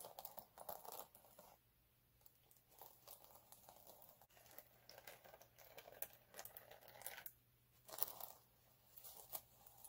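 Fingertips and short nails scratch and rub across a flat, multicolour chunky glitter sheet lying on a dark cloth. The result is bursts of dry, crinkly, bright scratching that start and stop, with short quiet pauses between strokes and a faint steady low hum underneath.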